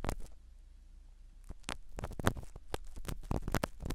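A black spiral ear pick scratches the foam cover of a small black foam-covered microphone set in a silicone dummy ear. It makes close, muffled bursts of scraping and rustling, mostly low and thuddy with brief bright crackles, over a quiet low hum. There is a short pause near the start, then the bursts come in an irregular rhythm.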